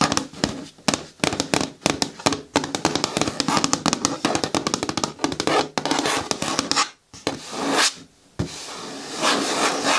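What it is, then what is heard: Hard plastic lidded bin tapped with nails. Long nails tap rapidly on the side walls of an upright, hollow, green hard plastic bucket with a lid, making a dense run of sharp, hollow clicks with a resonant ring around 300 Hz. After a brief pause near seven seconds, the taps give way to bright, sustained scratching against the plastic.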